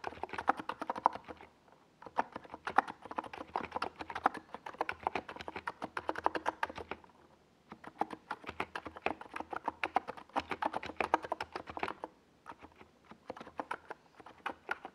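Fingertips of both hands rapidly tap keys on a NiZ Plum Atom 68, a compact 68-key mechanical keyboard with a white, hollow plastic case and purple and yellow Domikey Gas Attack SA plastic keycaps, resting on a desk pad. Bursts of quick, clacky mid-pitched keystrokes come in fast runs, separated by short pauses near 2, 7 and 12 seconds. Each keystroke is sharp and dies away almost at once.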